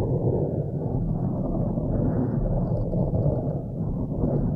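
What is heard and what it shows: Long nails scratch and rub the sides of a blue foam windscreen on a microphone. The result is a steady, muffled rustling rumble, heavy in the low end with almost nothing bright, holding an even level throughout.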